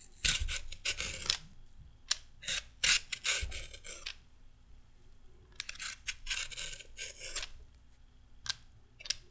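A short raw carrot held in hand is scraped with a red-handled metal peeler, making quick, bright, rasping strokes. The strokes come in irregular bursts: a dense run early on, a quieter stretch, then another run and a few single scrapes near the end.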